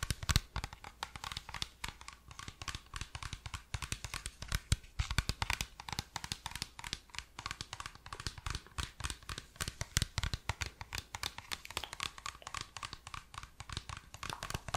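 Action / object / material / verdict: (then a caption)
scrape / plastic water bottle / PET plastic / none. Fingers grip, squeeze and scratch the sides of a hollow, apparently empty clear PET plastic water bottle with a green cap while turning it. The result is a dense, continuous run of sharp crinkles and crackles with a low thump underneath and bright scratchy edges.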